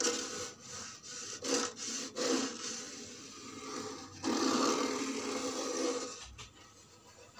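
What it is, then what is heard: Wooden box. Long red-painted fingernails scratch and tap the top and side of a small, solid-looking box made of old reddish-brown wood. Dry, raspy scratching strokes come in uneven bursts, with a bright hiss over a low, woody resonance. A long, continuous scrape in the middle fades into quieter, softer scratches at the end.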